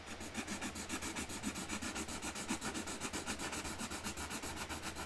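A hand colours the centre flower on a flat cardboard box lid with a magenta marker, rubbing the nib back and forth on the cardboard. The rapid, steady scratchy strokes, about four per second, have a bright, hissy texture over a faint low hum.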